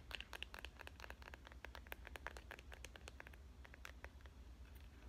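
Long nails tap and scratch quickly on the back of a smartphone in a clear, avocado-print plastic case. A dense run of short, bright plastic clicks and scrapes sits over a steady low hum, at a quiet level.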